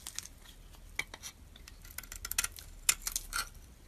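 A hand-held solid bar of soap, purple on the outside with a white core, is scraped and shaved with a metal utility-knife blade. The result is a quiet run of short, dry, bright scrapes and crisp ticks at an irregular pace, each dying away almost instantly over faint hiss.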